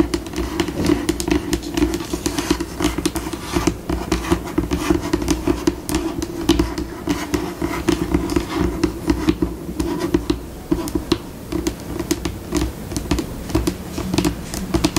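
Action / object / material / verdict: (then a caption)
tap / laminate tabletop tapped and scratched with fingernails / laminate / none. Long pink acrylic nails on both hands tap, scratch and scurry across a flat, solid white glossy laminate tabletop, the pace shifting between slow and fast. The sound is a dense run of short, dry clicks and brushing scrapes with almost no ring, over a steady low-mid hum.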